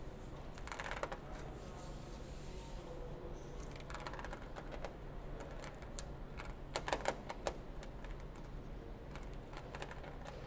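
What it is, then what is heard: Painted sheet-metal car trunk lid, tapped and scratched with nails. Long nails tap and scratch the painted sheet-metal rear trunk lid of a grey Mercedes-Benz S-Class Maybach, near the 4MATIC chrome emblem above the tail light. Quiet, dry, clicky taps come in quick irregular runs, with bright scratchy swishes near the start and around the four-second mark. A steady low hum sits underneath throughout.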